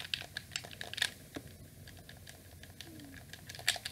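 A black hollow plastic PlayStation 2 controller held up close as fingers repeatedly click its shoulder buttons and face buttons. Quick, bright plastic clicks with almost no ring come in irregular bursts, with a quieter stretch in the middle and louder clusters near the start and end.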